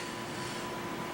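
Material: Nothing is struck.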